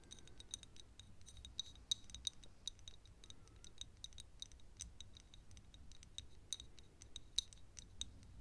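Long nails tap close up on a small, thick glass perfume bottle partly full of yellow liquid, making a steady run of quick, bright clicks. Each tap is short with a faint glassy ring that dies almost at once, over a soft low hum.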